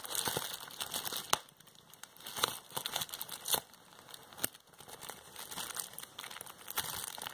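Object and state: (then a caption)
Plastic bubble wrap being popped and crinkled. A flat sheet of clear plastic bubble wrap with air-filled bubbles is held in both hands and pinched with long painted fingernails, popping bubbles and crinkling the plastic. Bright, dry crinkling runs throughout, punctuated by sharp, short pops at irregular moments. The sound is quiet and close, with almost no low end.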